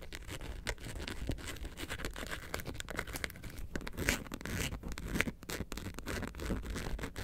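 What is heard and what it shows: Long nails scratch the surface of a hollow yellow faux leather bag, seen from the side with its zipper pull visible. A dense run of quick, dry scratching rasps with bright crackle sits over a steady low rumble, and each stroke dies away almost instantly.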